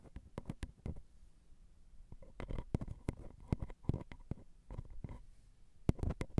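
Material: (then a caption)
Metal. Long glitter acrylic nails tap and scratch along the ridged metal bodies of a Zoom recorder's X/Y microphone capsules. Quick, dry, clicky taps with a deep, thumpy body come in uneven bursts, mixed with soft scraping between them. The sound is quiet and close, and each tap stops dead with no ring.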